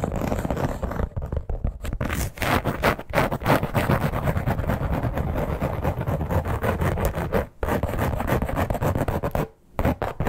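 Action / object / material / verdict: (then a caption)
scrape / embossed leather clutch / leather / none. Long nails scratch and rub across the surface of a flat red croc-embossed leather clutch. The result is a dense, continuous run of rough, low-heavy scratching and scraping with no clear separation between strokes. The sound breaks only in brief pauses near the end.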